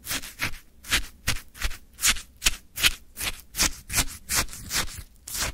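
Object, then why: Frozen shaved ice in a plastic cup, wooden stick. A wooden stick scrapes and digs into a full plastic cup of orange frozen shaved ice. Bright, crunchy scraping strokes repeat at a loosely regular pace, each short and gritty with quiet gaps between.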